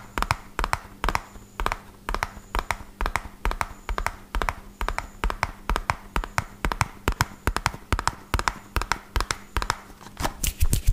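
A small, hollow, red printed cardboard medicine box is held in one hand and tapped fast with fingertips and nails. The result is a rapid, steady stream of dry, hollow taps that die away almost instantly, with a low papery thump under sharp, bright nail clicks.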